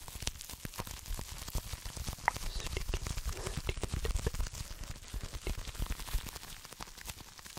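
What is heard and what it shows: A flat, pink, iridescent plastic bubble wrap mailer is held in the hands while fingertips scratch and crinkle it. A steady stream of quick, dry crackles and sharp ticks comes with a soft, low rustle underneath, and a few brighter snaps stand out. The clicks stop instantly with no ringing.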